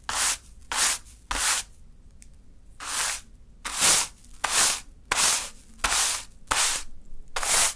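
A small natural-fiber hand broom held between fingers sweeps a small heap of fine pink sand across a dark surface. Ten separate brushing strokes make soft, bright, hissy rubbing sounds, with short pauses between them and a longer gap near the start.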